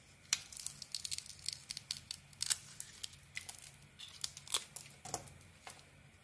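A metal knife blade scrapes and peels the green glitter coating off a solid, rounded white bar of soap held in the hand. The result is a quiet, rapid series of crisp, bright crackling and tearing scrapes with very short decay, some strokes sharper than others, over a faint low hum.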